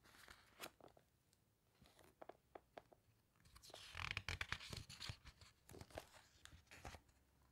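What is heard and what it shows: Long nails rub and squeeze the glossy pages of a large open hardcover book, making quiet, irregular scratchy ticks and soft crinkles. A louder, bright papery rustle swells around the middle as one page is turned, then the light nail scratches resume.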